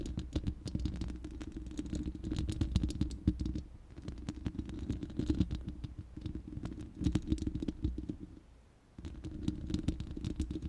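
Long manicured nails of both hands scratch and tap the bare, hollow round steel mesh grille of an uncovered studio microphone. Dense, rapid clicks and scrapes run over a strong low, boomy resonance, pausing briefly near the end before resuming.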